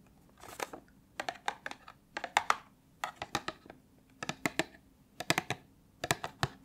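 Long nails tap and scratch the sides of a small, closed, printed cardboard box of Iris body cream held in the hand. Roughly two dozen short, dry, papery clicks come in quick clusters, each cut off almost at once. The clicks are bright and crisp, with a hollow tone near 1.2 kHz and faint scratchy rasps between them over a quiet background.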